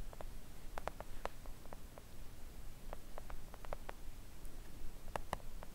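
Long acrylic press-on nails on both hands gently tap a thin, solid, flat pink silicone nail art mat printed with nail shapes, lying on a table. Soft, short clicky taps come in an irregular patter over a low, steady background rumble, each tap dying away almost instantly.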